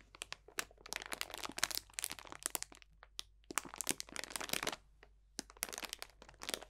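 A clear cellophane bag full of dried potpourri, dried orange slices and leaves, is squeezed and crunched with both hands. Bright, dry crackling and crinkling come in three dense bursts separated by short pauses, with each snap dying away almost instantly.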